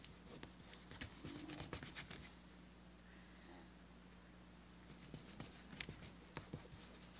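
Fingertips rub and smooth the burnished flesh side of a small, thin, solid tan veg-tanned leather piece resting on a cutting mat. The result is soft, dry scratchy rubbing with short, bright ticks scattered over a quiet low hum. The ticks cluster near the start and again toward the end, with a calmer stretch in between.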